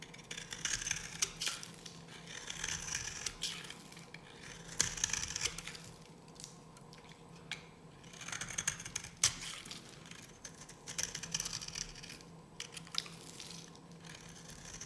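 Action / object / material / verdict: scrape / bar soap scraped with a metal blade / soap / none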